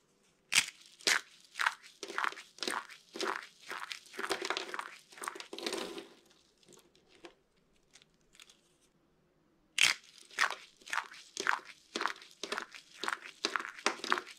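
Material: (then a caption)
Soap. Hands with purple nails squeeze and grind brittle curls of dry green and white soap in their fists, then press them into a pile of flakes on a table. A rapid run of sharp, bright crunching and crackling bursts fades to faint crinkles and a brief silence, then resumes as another burst of crisp crunches.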